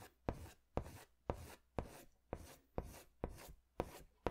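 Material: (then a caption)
Paper. A pink pastel crayon is scratched in strokes across a drawing on a large white paper sketch pad. Nine scratchy, rasping strokes sound at a steady pace, each starting sharply and trailing off into a dry rub.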